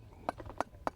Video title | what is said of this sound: RESUME Reel WTTG | you hear that hard almost slate like tapping sound that's because the walls and floor of this firebox got so hot that the soil burned